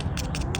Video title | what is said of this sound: Mantis Tiller Carburetor & Fuel Line Replacement | sounds like I'm tapping on cardboard